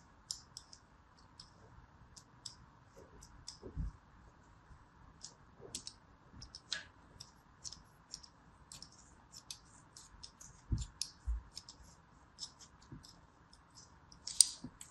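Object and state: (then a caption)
Kinetic sand disc being scored. A thin metal blade tip scores a crosshatch into a palm-sized solid disc of yellow kinetic sand resting on an open hand. Crisp, bright scratching clicks come in short, dry bursts, with occasional soft low thuds and a faint steady hiss underneath.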